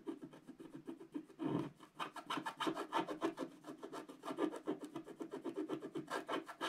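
A wooden stylus rapidly scrapes back and forth across a flat scratch art card of coated black card, filling in an area. It makes a quiet, dry, rasping rub in a steady run of quick, short strokes. Each stroke has a bright, scratchy edge over a mid-range body and stops with almost no ring.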